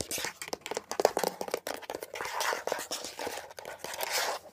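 Long nails rapidly tap and scratch the textured shell of a beige hollow plastic air freshener dispenser housing as it is turned in the hands. Quick, dry clicks mix with bright, scratchy rasping, and a hollow plastic tone sits around 600 Hz. Each tap dies away almost instantly.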